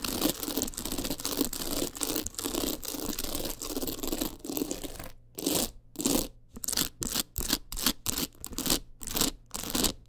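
Long nails scratch rapidly over the stones of a teal rhinestone-covered clutch wallet, making a dense, bright, gritty rasp. For the first five seconds the scratching is continuous, then it breaks into short, quick bursts separated by brief silences.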